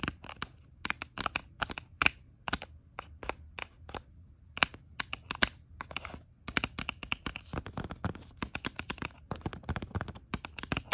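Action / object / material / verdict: tap / plastic blister pack on cardboard card / plastic / none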